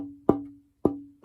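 A thinner carved wooden archtop guitar plate, closer to its final thickness than another, is tapped three times. Each tap gives a woody knock with a steady ringing tone around 300 Hz that sustains before fading. The tone is lower with more sustain, the sign tap tuning uses to guide scraping the plate down.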